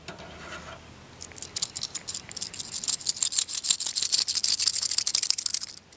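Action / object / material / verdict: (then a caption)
shake / steel tapered roller wheel bearing / steel / loose. A steel tapered roller wheel bearing from a 1966 Ford Thunderbird, lifted from its cleaning soak and held by a finger through the center, is shaken. After a brief quiet start, it gives a quick run of light, bright, dry metallic rattles that grow busier and louder toward the end. The rollers rattle only a little, showing they are loosening up but are not yet fully clean and will likely still need brushing.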